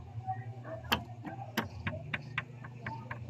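A rubber mallet strikes the steel connecting rod area of a Honda Click 125 fi motorcycle engine seven times, producing short, sharp knocks with a bright clattering edge that die away almost instantly over a steady low hum. The knock reveals a worn connecting rod with excessive play, confirming the abnormal side play already found by hand.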